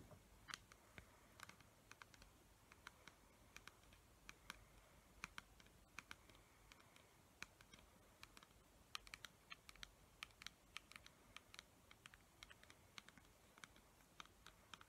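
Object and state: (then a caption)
Plastic pump bottle tapped with nails. Long nails tap and scratch the paper label of a clear plastic pump bottle held sideways with liquid inside. A quiet, steady stream of quick, sharp, bright clicks and light scratches plays over a soft low rumble, each tap dying away almost instantly.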